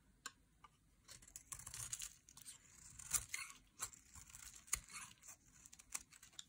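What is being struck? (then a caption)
Bar of soap scraped with a blade. A metal utility blade carves and scrapes curls off a solid, bright green dry soap bar held in hand. Quiet, dry, crisp scraping and crackling comes in irregular bursts, with sharp bright clicks where the blade bites in.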